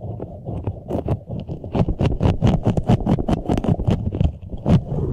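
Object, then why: Soft rubber spiky puffer ball. A large, green, soft rubber puffer ball with flexible spikes, hollow and air-filled, is squeezed and rubbed with the fingertips of both hands. The result is a fast, continuous run of rubbery scrapes and muffled squeaks. The sound is mostly low and dull, with brief, bright scratchy flicks that die away almost instantly.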